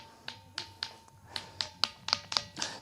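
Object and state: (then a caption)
Ringing rock with a metallic, bell-like tone. A child strikes a ringing stone in Sarguja ten times, each hit a sharp, bright, metallic clink like a small bell. The quick strikes decay fast over a faint steady tone, sounding like metal rather than the dull knock of ordinary rock.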